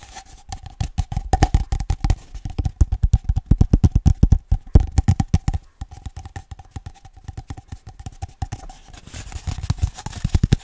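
A single empty, hollow grey cardboard toilet paper roll tube, hand-sized, is held in one hand close to the microphone while fingertips and nails tap and scratch along its outer surface. The result is a dense run of quick, dull, low thumps and dry scratches, with a faint steady hum underneath and a brief pause near the middle.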